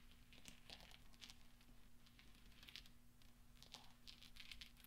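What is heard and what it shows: Fingertips roll and spread small solid steel pachinko balls across black velvet, making them clink together. Quiet, bright metallic ticks and clicks centered around 3 kHz sound in quick, irregular clusters over a steady low hum, each ring fading almost at once.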